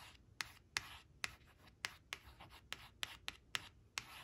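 Long nails trace and scratch along the printed image of a black crayon on a thin, flat, glossy coated cardboard flash card that rests on a fabric cloth and is turned by hand. The result is a quiet, bright, dry scratching with about ten short, sharp strokes that stop almost instantly, separated by softer rubbing.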